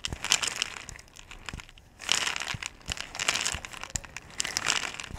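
A clear, ridged plastic bottle with a blue cap, held sideways in both hands and nearly full of small white round pellets, is shaken while long-nailed fingertips grip and rub its surface. Bright, crinkly rattling comes in dense bursts with a short quieter lull near the two-second mark, broken by a few sharp taps.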